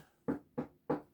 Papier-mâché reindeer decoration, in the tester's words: This is paper mache. It's paper. Hear that? It's paper. It's hollow.